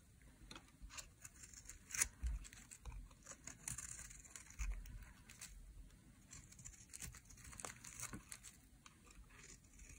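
A metal blade shaves flakes off the edge of a dry, solid pink soap bar held in hand. Quiet, crisp scraping and crinkling strokes come in quick succession, bright with short sharp onsets over a faint low rumble.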